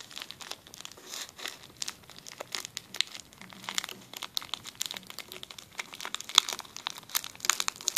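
A clear plastic zip-lock bag is rubbed along its zipper and then crumpled with the fingers. The result is a quiet, steady stream of dry, bright crinkles and crackles, with sharp clicks and no low end.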